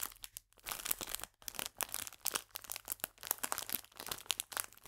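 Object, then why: Clear plastic biscuit bag. A full clear plastic biscuit bag, held upright, is squeezed and crinkled with fingers and nails. Bursts of dense, bright, crackly crinkling come in quick waves, separated by brief quiet gaps, over a faint steady low hum.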